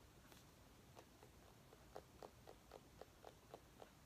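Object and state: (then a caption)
Small pumpkin tapped with fingernails. A small orange mini pumpkin held in the hands is tapped with long nails, giving quick, light, hollow knocks with a dull mid-pitched tone and a faint bright click. The taps start faint and sparse, then settle into a steady, fairly even rhythm of about four per second. Each knock is dry and dies away almost at once over a low background hiss.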